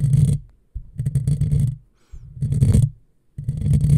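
Long fingernails of one hand scratch across a hollow black metal mesh microphone grille. They make four bursts of low, boomy, rumbling scratching with brief silences between them. Faint bright crackle sits over the heavy low-end texture.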